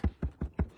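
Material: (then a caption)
Stabilizer fabric. Four low, drum-like taps on a tearaway stabilizer hooped tightly in an embroidery hoop, each a short dull thump that dies away almost at once. The firm taut sound shows the stabilizer is hooped well, not saggy or floppy.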